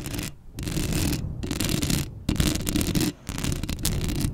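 Long acrylic nails scratch the hollow metal mesh grille of a black Blue Yeti microphone in repeated bursts separated by brief pauses. The close scratching comes through as a dense, rasping texture with a heavy low rumble under a bright, hissy upper layer.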